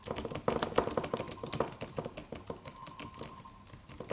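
Fingertips of both hands tap the white plastic keys of a slim, silver aluminum computer keyboard with a solid, low-profile body in a typing motion. About two dozen quick, soft, uneven clicks and taps follow one another, with short, dry, mid-pitched clacks and a little high key rattle.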